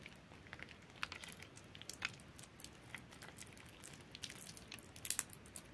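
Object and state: Soaked bar soap, wet and soft.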